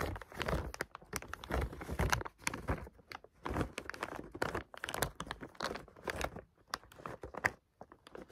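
Fingers handle and squeeze a clear plastic bag of green bath oil pearls, crinkling the plastic and shifting the beads inside. The result is a steady run of short, dry crackles and crunches with quick rustling bursts and brief pauses between them.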